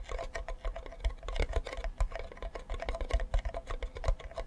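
Fingertips and nails tap rapidly on the back of a hollow wooden ukulele bearing a yellow flower sticker. The result is a quick, uneven patter of dull, hollow knocks with a deep body thump and very short ring.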